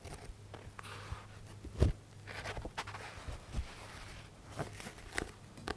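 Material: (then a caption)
Paper. A thick paperback book with a paper cover is held sideways while fingertips and nails scratch across its stacked page edges and tap the spine area. Soft, dry scratching rustles run under about eight short, muted taps, with a steady low hum underneath throughout.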